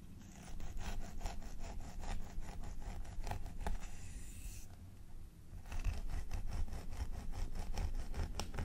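A wooden fine-tooth comb is dragged repeatedly through the long, straight synthetic blonde hair of a mannequin training head near the parting, while fingertips hold the strands. The result is a steady run of soft, scratchy combing strokes over a low rumble, with a brief quieter lull in the middle before the strokes resume.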